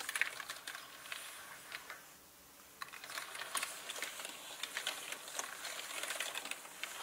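Slow typing with fingertips on a full-size black plastic mechanical gaming keyboard with plastic keycaps and a hollow body. Quiet, bright, clicky keystrokes come in irregular bursts, with a brief pause near two seconds before the typing picks up again.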